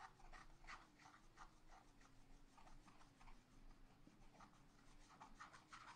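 A wooden stylus scratches flower details into a black wax-coated scratch art paper page in a spiral pad. Quiet, rapid, dry scratching strokes come in short bursts centered in the mid range over a steady low hum.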